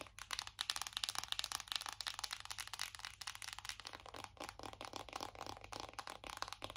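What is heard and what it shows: A closed, flat, hollow black matte cardboard eyeshadow palette with gold lettering is tapped and scratched with long acrylic nails on its front and back. The result is a dense run of quick, dry, crackly taps and scratchy rasps, bright and high with almost no low end. Each tap dies away instantly.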